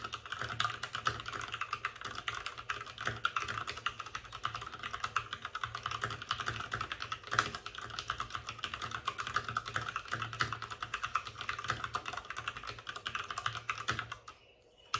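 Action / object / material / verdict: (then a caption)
tap / plastic mechanical keyboard / plastic / none. Fingertips of both hands type fast on a white RGB-backlit mechanical keyboard with plastic keycaps and a hollow plastic case. A dense, steady stream of short, bright plastic clacks runs with a faint low hum beneath, then the typing stops just before the end.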